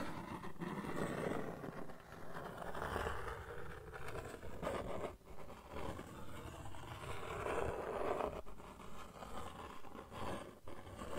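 A flat brown cardboard sheet is held in the hands while nails and fingertips scratch across its face. The result is a steady, quiet, dry scratching and rustling with a dull low-to-mid body and little brightness, rising and falling in uneven strokes.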